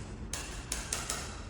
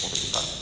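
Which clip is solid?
The first.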